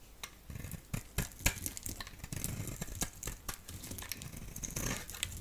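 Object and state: Bar soap being carved.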